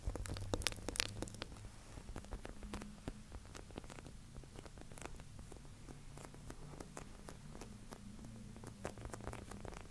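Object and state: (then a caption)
Plastic drink bottle. A hand-sized, hollow white plastic Prime sports drink bottle with black lettering, fill not visible, is held in both hands and tapped and scratched with fingertips and nails close to the recorder. Quick, dry clicks and scratchy taps patter irregularly and brightly throughout, with a low steady hum underneath. The sound stays soft, with slightly stronger taps near the start.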